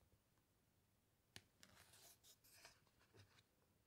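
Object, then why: Glossy paper pages of a large hardcover book. Fingertips press, squeeze and rub the glossy pages of a large hardcover book lying flat, and then a page is turned. After a faint, near-silent start, a sharp tick lands at about 1.4 seconds. It is followed by bright, crinkly rustling and sliding bursts that fade back to quiet, with a soft low thump near the end.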